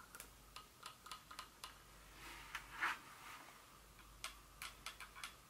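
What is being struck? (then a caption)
Small glass perfume bottle with metal cap. Long fingernails tap rapidly on a small Dior glass perfume bottle with a metal collar and cap area. About twelve quiet, bright ticks sound with a short ring around 1.5 kHz, interrupted midway by a soft rustling swell and a brighter scrape. The result is a light, clock-like tick pattern.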